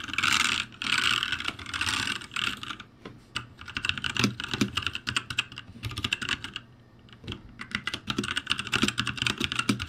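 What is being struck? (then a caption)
Mechanical keyboard with plastic keycaps. Fingertips type on the upper rows of a backlit ROCCAT G65 mechanical keyboard with plastic keycaps. Rapid, bright plastic clacks come in dense bursts, broken by brief pauses around the first, third and seventh seconds.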